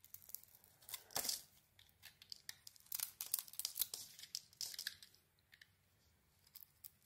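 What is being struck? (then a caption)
Bar of soap. A blade scrapes and carves a solid red Isana bar of soap with a pink interior, making quiet, crisp, bright scraping bursts in irregular strokes. Each stroke is dry and short, with almost no low end, and there are brief near-silent gaps between the carving passes.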